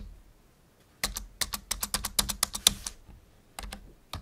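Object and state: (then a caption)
Plastic computer keyboard. Fingertips press keys on a full-size black plastic membrane computer keyboard resting on a wooden desk. About eighteen short, bright, clacky keystrokes come in an uneven burst of typing, with each click dying away almost instantly. After a brief pause, a few final taps follow.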